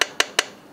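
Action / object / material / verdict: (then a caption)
tap / steel truck wheel nut / steel / tight. An inspection hammer taps torqued steel truck wheel nuts three times, giving sharp, bright metallic pings that die away almost at once. The nuts are tight and all sound the same.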